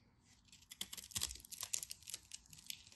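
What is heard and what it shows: A utility knife blade scrapes and scratches the cross-hatched surface of an orange solid bar of soap held in the hand. The result is a quiet series of dry, crisp, irregular scratches and crackles, bright and hissy with almost no low end, each stroke stopping dead without ringing.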